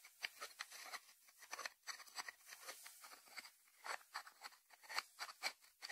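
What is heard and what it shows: Fingertips tap the closed lid and sides of a small, round, hollow white ceramic salt dish resting on a wooden board. The result is a quiet, irregular run of bright, dry clicks and light ticks with almost no low end. Each tap dies away almost instantly.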